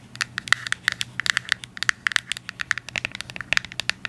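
Long acrylic nails tap and scratch a small, hollow, yellow cube-shaped Byoma cardboard box held in the hands. A rapid, irregular run of sharp, dry clicks and light scratches has a bright, hollow tone centered near 1.9 kHz, over a faint low background hum.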